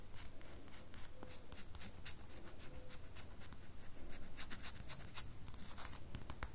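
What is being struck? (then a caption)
Solid bar of soap. A solid red bar of soap is scratched with long fingernails, with some strokes running against the table. Quick, dry, irregular scratching strokes come through bright and crisp over a steady low hum.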